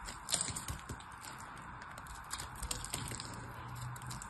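A solid purple bar of soap is held in the hand while pieces are cut off it with a craft knife blade, and flakes crumble away. A steady soft hiss runs under a rapid series of small crisp scrapes and light clicks, a few sharper than the rest.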